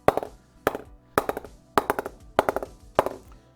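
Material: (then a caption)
Willow. Taps on the lower blade, toward the toe, of a willow SS Gladiator 2020 cricket bat come in six quick clusters of short, sharp knocks with a mid-range ring around 590 Hz. The wood there sounds firmer than expected, not as soft as anticipated.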